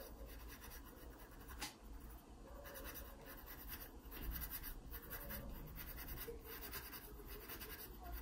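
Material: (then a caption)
Paper. A graphite pencil scratches short dark strokes onto a pear stem drawn on an open paper sketchbook page. Quiet, dry scratching runs throughout over a steady low hum, with a brief sharper stroke near the start.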